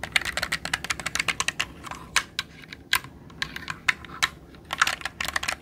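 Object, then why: Mechanical computer keyboard with plastic keycaps. A jade roller is rolled and pressed over the plastic keycaps of a black mechanical computer keyboard held upright. This produces rapid, uneven bursts of short, bright key clicks with very little low end, some clustered and some isolated, separated by quiet gaps.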